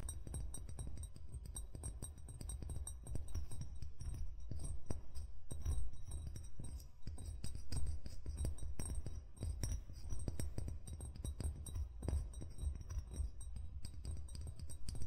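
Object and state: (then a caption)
Glass wine bottle. The fingertips of one hand tap rapidly on the body of a hollow, apparently empty amber glass wine bottle lying on its side, while the other hand holds its neck near the gold cap. The taps form a steady stream of soft, low, dull knocks with faint bright glassy clinks on top. Each tap dies away almost at once.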